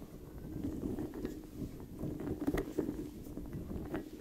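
Fingertips scratch and rub the long flexible spikes of a large blue, soft, hollow and squishy rubber puffer ball held in both hands beside the microphone. The result is a steady, dull, low-pitched rubbery rustle and scrape, broken by a few sharper brief flicks as the spikes snap back.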